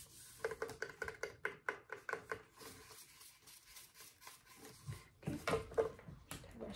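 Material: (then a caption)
Plastic. Fingertips rub and scratch along the fingers and finger joints of a hollow, roughly life-size plastic Halloween skeleton hand and forearm held in a lap. A quick run of sharp, hollow plastic clicks with a short mid-pitched ring gives way to quieter soft scraping, then a louder cluster of clicks and rubs near the end.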